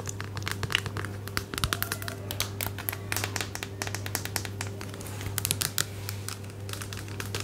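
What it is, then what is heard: Plastic cream bottle. An orange, medium-size plastic bottle of body cream, hollow and apparently filled, is tapped and scratched with long nails. Rapid, dense clicks and crackly scrapes with bright edges sound throughout over a steady low hum.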